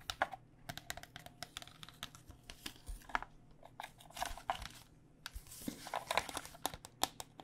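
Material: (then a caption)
Plastic. Fingernails tap rapidly across the outer plastic shell of a hollow white cycling helmet, plastic over foam, before it is turned to show its red and black padded inside. The taps are quick, dry, bright clicks with a faint hollow tone near 770 Hz, mixed with soft crinkly scratching between them.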